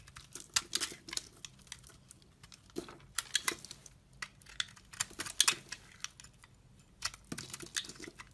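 A utility knife blade shaves thin curls and flakes from a solid, translucent orange glycerin soap bar held in a hand with painted nails. The clip is a quiet, irregular run of crisp, bright scraping ticks and soft crackles that stop instantly with no ring, clustered in short bursts with brief pauses between.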